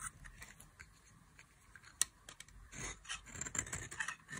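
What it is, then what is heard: Dry soap bar being shaved. A solid oval bar of dry yellow soap, held in long-nailed fingers, is shaved and carved with a metal craft knife blade. Quiet, dry scrapes and crisp, bright scratches come in irregular strokes, with one sharp click near the middle and fuller, longer scraping toward the end.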